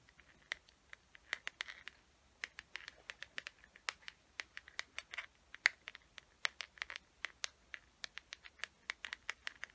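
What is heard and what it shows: Long nails scratch and tap the surface of a small hollow teal plastic case with a gold chain, held closed. Dozens of quick, dry, bright clicks and scratchy ticks come at an uneven pace, quiet and with no low end.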